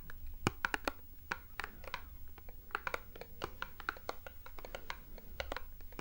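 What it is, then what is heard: Cardboard box. A small, hollow printed cardboard product box held in the hands is tapped and scratched with long nails. The result is a steady stream of quick, dry, irregular clicks and light scratches, some with a brief hollow ring, over a faint low rumble.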